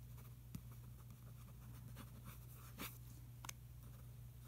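A fingertip traces over a supplement product ad on the same page of an open glossy paper magazine lying on a carpet. Quiet, soft scratchy strokes sit over a steady low hum. Three brief, sharper bright ticks stand out from the faint rustle.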